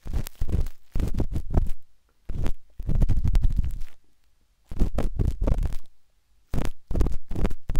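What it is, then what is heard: Silicone microphone ear being scraped. A metal-tipped dot stick with a wooden handle scratches inside the soft, hollow canal of a pinkish-white silicone binaural microphone ear. Bursts of deep, muffled rumbling scraping come in clusters separated by brief silences.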